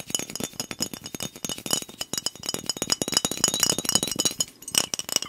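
A fingernail taps quickly and steadily on a glass soda bottle that is held sideways with liquid inside. It makes a fast stream of bright, glassy clinks with a ringing tone near 3 kHz. Each tap cuts off almost at once, with very little low end.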